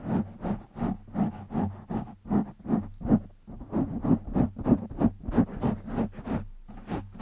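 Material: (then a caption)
Foam. Fingertips of both hands scratch a black foam windscreen on a microphone, producing a rapid, uneven train of short rustling, scratchy bursts at roughly three per second. Each burst carries a muffled, boomy low-mid thump with a faint bright hiss on top, and the sound stops dead between strokes.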